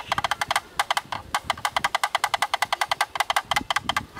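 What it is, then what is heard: Plastic camera lens hood. A thin bamboo stick knocks rapidly and rhythmically on the bayonet ring at the mount side of a black plastic camera lens hood. There are 29 short, dry, hollow clicks with a woodblock-like tone centered around 820 Hz and bright upper edges. Each knock dies almost at once, with almost no low end, in a quick, slightly uneven patter.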